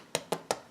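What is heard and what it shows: A freshly baked Irish soda bread loaf, just out of the oven, is tapped three times on the front, each tap giving a short, dry, hollow knock. The hollowness shows the bread is baked through and done, judged from the front because the known oven times are trusted rather than flipping the loaf to tap the bottom.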